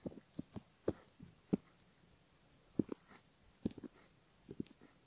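A bamboo ear pick scratches the inner upper folds of a silicone left ear model while fingertips hold the ear. It makes a scattered series of soft, short scratching clicks with dull low-mid bodies and faint bright ticks, separated by quiet gaps.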